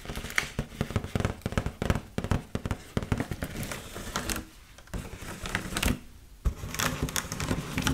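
Long nails tap and scratch across an inflated red mylar foil heart balloon held hollow in both hands. Quick, dry taps with a hollow low thump and bright crinkly crackle follow one another rapidly and die away at once. Brief softer scratching stretches near the middle and end break up the tapping.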